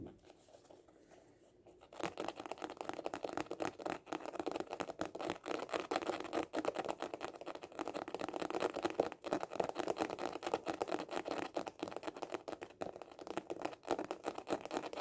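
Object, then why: Hard-shell glasses case. A small hollow hard-shell glasses case with a printed cover is held close and tapped fast with the fingertips. After about two seconds of near silence, a dense, continuous run of quick, dry, hollow taps begins, centred in the low-mid range with faint bright clicks, each tap dying away almost instantly.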